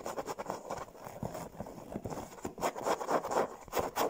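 Long blue-painted fingernails scratch and rub quickly over a large, soft, filled yellow stuffed fabric pillow shaped like a sunglasses emoji. The result is a run of soft, dry, rasping strokes in short, uneven bursts that fade almost at once. The sound is mostly midrange, with little deep or high tone.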